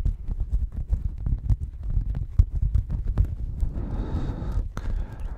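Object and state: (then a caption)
Woven fabric mat being scratched. A checkered woven textile mat is held at the microphone and scratched and rubbed with fingers. The result is a rapid run of deep, muffled thumps and bumps. Near the end, a brief stretch of brighter, hissy rubbing follows before the thudding returns.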